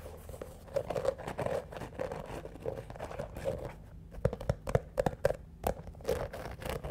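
Fingernails scratch along the studded surface of a single black shoe covered in small hard studs or rhinestones, held up close. The result is a run of short, dry clicking scrapes with a gritty, crunchy texture, centered in the low-mid range.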